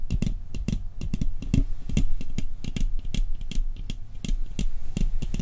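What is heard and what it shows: A round, hollow metal cookie tin with a Christmas-scene lid, held upright on a table, is tapped rapidly on its printed lid with fingertips and nails. The result is a fast, irregular run of short, dry clicks, each with a low, hollow thump underneath and a bright tick on top.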